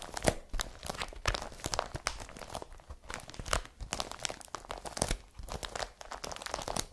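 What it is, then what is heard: Woven plastic carrier bag being scratched. A blue IKEA BRATTBY woven polypropylene carrier bag lies flat and empty while long fingernails scratch across its plastic weave. Rapid, dry, crinkly scratches and rustling bursts come in quick succession, bright and broadband, with sharp short clicks and no ring.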